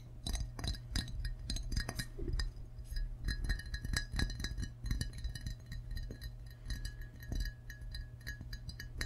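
An empty, hollow glazed ceramic frog mug is held in both hands and tapped with fingertips and short nails on its belly and sides. Many quick, bright clinks and ticks follow in a steady stream, each dying away almost at once, over a constant low hum.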